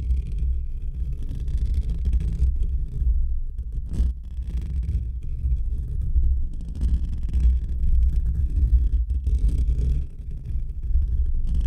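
Fingertips and short nails of both hands scratch and rub over a hollow metal wire-mesh microphone grille. The result is a steady, deep rumbling scrape centered around 66 Hz, with faint brighter crackle on top. It runs continuously with only brief dips in level.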